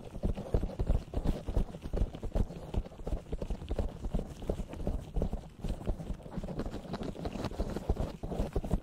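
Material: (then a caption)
Foam. A black, soft, porous foam windscreen on a desktop USB microphone is rubbed and tapped by both hands in latex gloves, with fingertips and palms cupping and kneading the foam over the capsule. The result is a steady stream of irregular, muffled thumps and rubbing crackles, heavy in low boomy tones, with almost no bright detail and each hit dying away quickly.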